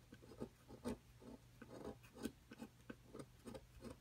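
A thin metal pick tool scratches and scrapes a solid plaster excavation block on a table, knocking plaster dust loose. About nine short, dry scrapes stand out over quieter continuous rasping, with a soft, muted low-mid tone and almost no ring.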